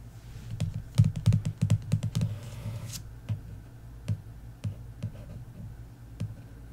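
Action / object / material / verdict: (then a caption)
tap / paperback book with card cover / card / none. Long nails tap and trace across the glossy card cover of an "Inheritance Games" paperback lying flat. A quick flurry of soft, dull taps gives way to a brief brushing scratch, then sparse, separated taps. The taps are short and low with almost no ring.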